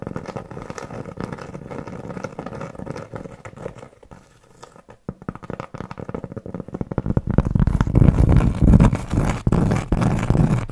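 A large round solid cork trivet, held in both hands, is scratched and tapped with long nails and at times held close over the mic. Dense, dry scratching and quick muffled taps carry mostly low, dull tones, fading quieter around the middle. They then grow louder and fuller from about 7.5 seconds to the end.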